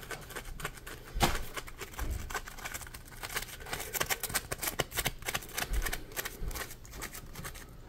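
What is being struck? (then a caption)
Polymer foam sponge. Fingertips scratch and squeeze a solid, palm-sized yellow polymer foam Scrub Daddy sponge. The result is a steady run of dry, crackly scratching with rapid bright clicks and occasional soft, low thumps as it is squeezed.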